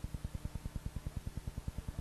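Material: Nothing is struck.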